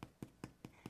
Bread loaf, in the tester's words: When the bread is done, it makes a hollow sound when you thump it.